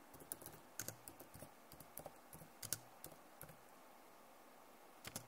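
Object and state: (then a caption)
Plastic laptop keyboard. Both hands with long nails type fast on a backlit plastic laptop keyboard. It makes quick, irregular bright clicks and taps in short bursts. A quiet pause follows before a final cluster of clicks near the end.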